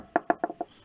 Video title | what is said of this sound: Chalet en palette,QUEL ETAT 2 ANS APRES?? | si vous tapez comme ça que ça sonne pas très beau c'est que c'est pas bon